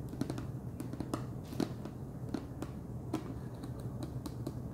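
Fingernails tap the top of the wide orange plastic screw lid on a large clear plastic jar full of Chester's Cheddar Paws cheese puffs. The result is a quick, uneven run of light, dry clicks with a dull low body and very little ring, over a soft steady hum.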